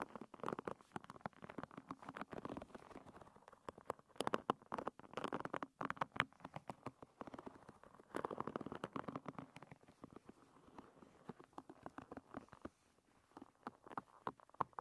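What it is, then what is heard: Wooden hairbrush pins scratched. Long red nails scratch across the many thin wooden pins of a hairbrush. The result is quiet bursts of dense, rapid clicking and ticking, centered in the midrange around 1 kHz with little low end. The clicks come in uneven scratching passes over about fifteen seconds.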